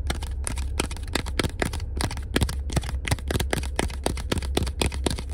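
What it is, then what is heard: Paper business card. A small, thin, solid black printed paper business card for a tattoo shop is held in one hand inside a car and rapidly scratched and tapped with the fingertips and nails of the other hand. The result is a fast run of sharp, dry clicks and papery scrapes with bright edges over a steady low rumble.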